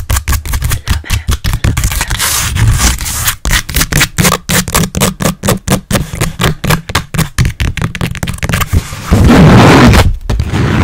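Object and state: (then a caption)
Stretched canvas board. Long nails and fingertips rapidly tap and scratch the front of a blank white stretched canvas, about 20 cm square, on a frame that is hollow at the back. About 40 quick, irregular hollow taps thump with a low drum-like resonance and short ring, mixed with brief papery scratches. Near the end, a louder sustained scraping rub takes over before a few final taps.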